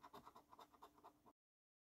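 A coin scratches the latex coating over the symbols area of a flat, thin paper-and-cardboard lottery scratch card held down by fingertips. It makes a quick series of short, rasping scrapes centred around 1 kHz, lasting just over a second before stopping abruptly.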